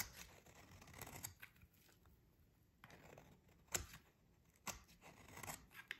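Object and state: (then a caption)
Dry soap bar being scraped. A metal utility blade scrapes thin shavings from a solid, dry, green rectangular bar of soap held in the hands. The quiet, crisp scraping strokes have bright, papery edges and short sharp peaks between softer rasping passes.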